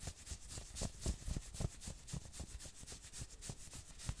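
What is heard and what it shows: Fingertips rapidly scratch the shoulders and chest of a worn maroon knit sweater. Each quick, slightly uneven stroke makes a dry, bright rasp over a soft low thump, and the strokes run together into a steady, quiet scratching texture.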